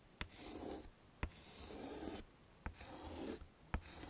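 A pink chalk stick writes letters on a small flat black chalkboard set in a wooden frame. Each stroke begins with a sharp tap of the chalk on the board, followed by a dry, breathy scrape with a bright hiss and a soft midrange rasp. Brief quiet gaps separate the strokes.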